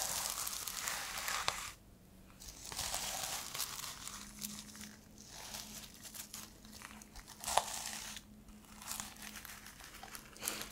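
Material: Plastic.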